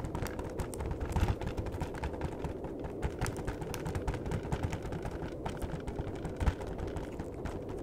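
Fingertips tap rapidly on the back of a flat cardboard chocolate box, then on its long edge. The taps are dull, quick, low thuds with faint bright clicks, steady throughout over a soft low rumble.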